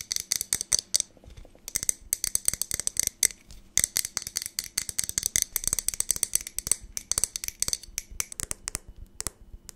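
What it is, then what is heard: Glass jar tapped with fingernails. Long nails tap fast on the sides of a medium clear glass jar with a lid and a small label, held in one hand beside the mic. About fifty rapid, sharp, bright clicks come in uneven bursts with brief pauses. Each tap is dry and stops almost instantly, with very little low end.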